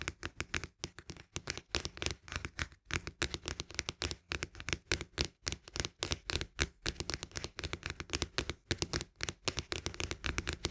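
Fingertips and nails tap quickly on the side of a cylindrical cardboard canister of barley drink, near its green plastic lid. The result is a steady run of dry, crisp taps at an uneven pace, each tap dying away almost instantly.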